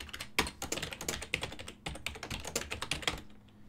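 Fingertips type on a full-size black and silver plastic ergonomic desktop keyboard with hollow key switches. The result is a quick, uneven run of bright, clicky key taps that stop short, over a faint low hum. The typing pauses briefly in the middle and fades to near quiet at the end.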